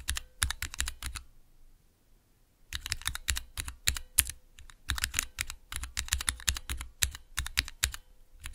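Fingertips press and tap the keys of a small 3x3 mechanical keyboard switch tester, with clear plastic keycaps on Cherry MX switches set in a clear plastic base, resting on dark velvet. Rapid bursts of sharp, bright plastic clacks with a low thock under each press are broken by a brief pause of about a second and a half before the tapping resumes.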